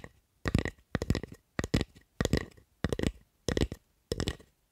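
Long acrylic nails scratch and tap along the handle and blade of a solid wooden spatula held in both hands. The sound comes in short, separate bursts of rapid clicking taps and scratches, each with a dull low knock under crisp, bright clicks, with quiet pauses between the bursts.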